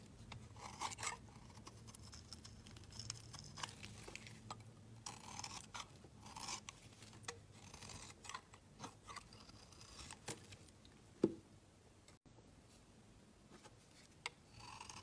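A hand-held solid pink rectangular bar of soap is shaved along its edge with a steel utility blade. The result is a steady run of soft, crisp scraping strokes with a bright, papery texture. A sharper click near the end is followed by a brief silence before the quiet shaving resumes.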